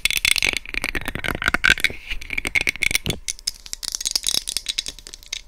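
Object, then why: Plastic microphone housing. Long red nails and fingertips grip the sides of a white hollow plastic SR3D binaural microphone casing, tapping and scratching it directly. The result is a dense, rapid stream of dry, bright clicks and scrapes that rattle and die away almost instantly.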